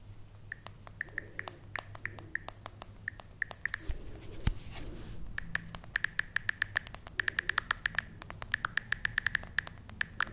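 Long red-painted nails tap and scratch the back and edges of a hand-sized smartphone in a pale pink plastic case, held in one hand. Dozens of sharp, short clicks with a faint ringing tone near 1.8 kHz sound over a quiet hiss, with softer scratching between them and one duller knock midway. The tapping grows quicker and denser in the second half.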